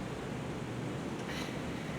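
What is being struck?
Nothing is struck.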